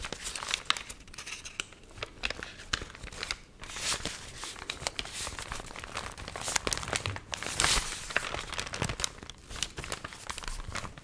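The stiff, warped pages of a dried, water-wrinkled paper magazine are held close to the mic and squeezed, bent and crinkled by fingers and long nails. The result is a dense, continuous stream of crisp, bright crackling and crinkling, with sharper, louder bursts as the pages flex.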